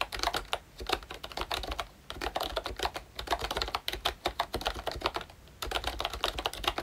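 Fingertips type on a pink plastic retro membrane keyboard, a ROYCHE Disney Mickey Mouse model with round keycaps and a hollow body. Quick runs of light, clacky keystrokes with bright plastic clicks and short ring are broken by brief pauses near two seconds and again before the end.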